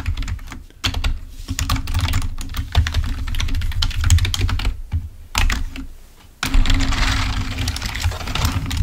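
Fingertips type rapidly on a full-size, wired, black plastic Microsoft membrane keyboard lying on a white table. Quick, bright key clicks run in dense bursts over a steady low hum, with brief pauses near 0.8, 4.8 and 6.2 seconds before the typing resumes louder.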